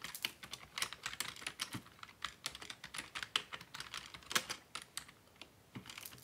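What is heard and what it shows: Fingertips type continuously on a black plastic Dell desktop keyboard resting on a wooden desk. Rapid, bright plastic key clicks follow one another in an uneven stream, each dying away almost instantly with very little low end.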